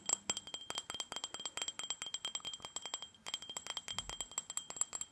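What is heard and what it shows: A small, empty, hollow glass tumbler with a red glitter coating is tapped rapidly on its sides and base with fingernails. The result is a quick stream of bright, dry clicks and clinks, with a faint, steady high ring underneath. There is a short pause just after three seconds before the tapping resumes.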